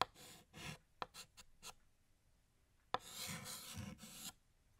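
Fingertips hold a blue chalk stick against a large, flat, solid black chalkboard, drawing stars and swirls. Sharp clicks of the chalk striking the board are followed by short, raspy scratching strokes. A longer, brighter burst of gritty scraping then fades to quiet.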